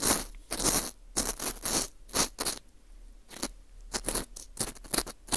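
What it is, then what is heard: Dried wheat gluten ring scraped. A green plastic screw earpick scrapes inside the hole of a small, hollow ring of dry, porous baked wheat gluten (fu) held in a gloved hand. It makes a series of short, dry, crunchy scraping bursts that are bright and crackly, with quiet gaps between strokes.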